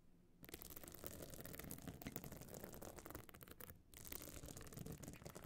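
Long nails scratch across the surface of a small, hard, pebble-encrusted metal-frame clutch bag covered in glued stone chips, standing open. After a quiet start, a dense, bright, gritty scratching runs almost continuously, with a brief pause near the end before it resumes.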